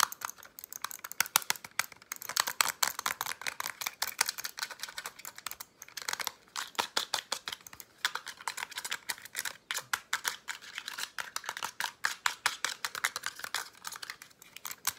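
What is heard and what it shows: A small, hollow black plastic wireless mouse is held up and tapped and scratched with fingernails on its top and underside. The result is a fast, dense stream of sharp, dry, high-pitched clicks and scratchy rasps with no low end, each tap dying away almost instantly.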